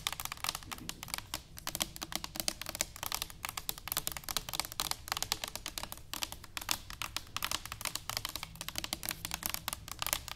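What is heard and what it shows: Long nails tap rapidly on an upright, hollow stainless steel cylinder canister, making a steady stream of quick, bright clicking taps with very little ring. A faint low hum sits underneath throughout.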